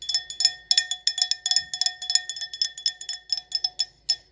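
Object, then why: Stemless glass wine glass. Long acrylic nails rapidly tap an empty, hollow stemless wine glass decorated with gold lettering and rhinestones. The taps come in an irregular flurry of bright, glassy clicks, each with a brief high-pitched ring that fades almost at once.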